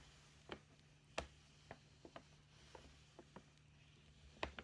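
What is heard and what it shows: A hollow red "Merry Christmas" paper gift bag is tapped on its front panel with long painted nails and fingertips. The result is a sparse series of short, dry, papery ticks and knocks with bright clicky edges and almost no ring, over a faint steady low hum.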